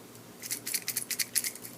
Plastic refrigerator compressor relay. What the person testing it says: when i shake it it it sounds loose inside